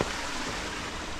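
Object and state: Nothing is struck.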